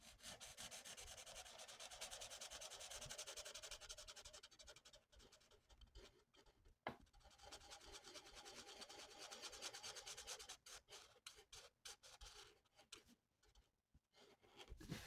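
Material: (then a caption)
Paper. The felt tip of a lilac plastic marker, held in the hand, rubs steadily across a flat sheet of mandala paper in short coloring strokes, with the same marker kept in hand throughout. The result is a dense, bright, scratchy swishing that runs almost continuously for the first few seconds. It then breaks into quicker, choppier strokes with brief silent gaps toward the end.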